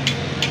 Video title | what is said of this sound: Gastos Aray ko Raider 150 Fi | pag inalog natin, tunog pera siya, tunog pera